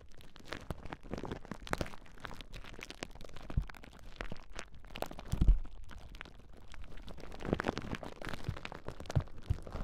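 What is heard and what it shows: A large clear plastic bubble wrap sheet is held across the microphones while fingertips and nails press and pop its bubbles. The result is a steady stream of quiet, short crackling pops and crinkles over soft, low thumps, with a few louder pops standing out.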